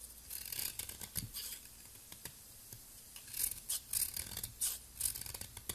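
A utility knife blade scrapes and shaves the surface of a palm-sized solid turquoise soap ball, possibly a bath bomb, held in a hand with long nails, as powdery flakes fall away. Quick, bright, crisp scraping strokes come in short bursts with brief pauses between them. Little low-end body sits beneath the hiss of the blade.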